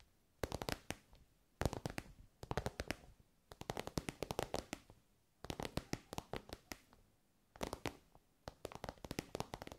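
Long nails tap on an elongated, soft glossy pink pencil case covered in shiny synthetic fabric. Five bursts of quick, crisp taps with a dull, low body are separated by short quiet pauses, and each tap dies away almost instantly.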